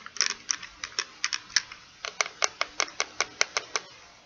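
A small purple plastic pocket calculator is held in one hand while fingertips and nails tap its rubbery keys and plastic case. About 18 short, dry, bright clicks come in an uneven, typing-like rhythm, with some quick double taps early on and a steadier pace later. Each tap dies away almost instantly, with no low-end thump.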